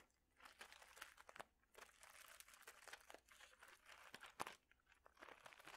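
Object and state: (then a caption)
Plastic bag of mosaic tiles. A clear plastic bag of small mosaic tiles is squeezed and crinkled with the fingertips. Soft, bright plastic crinkling comes in bursts with brief quiet gaps, broken by sharp, short clacks as the tiles knock together inside the bag.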